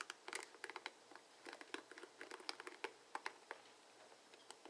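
Fingertips flick and scratch the plastic pins on the cushioned head of a dark blue plastic paddle hairbrush with bristles, held over a wooden table. A quiet, irregular run of short, dry, bright clicks and crinkly scratches, each dying away almost instantly, sits over a faint hiss with no low rumble.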